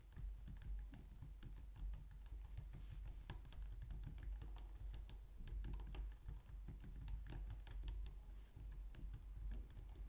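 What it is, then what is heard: Plastic computer keyboard being typed on. Long nails and fingertips type steadily on the keys of a compact, low-profile white plastic computer keyboard. A continuous stream of quick, bright clicks and taps rides over a steady low hum, with each keystroke dying away almost instantly.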